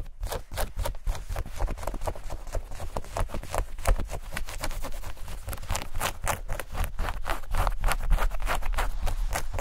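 Denim shorts are bunched in the hands and scratched and rubbed with long nails. The result is a fast, irregular stream of short, dry scratching strokes with bright fabric rasp over a steady low rumble.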